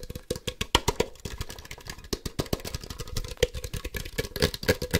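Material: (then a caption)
Plastic. A hand-sized hollow plastic Ultra Ball toy, a Poke Ball toy with white and black halves, is tapped rapidly with fingertips and nails. The result is a fast, uneven flurry of short, dry, clicky taps with a hollow plastic ring around 500 Hz and bright nail clicks on top.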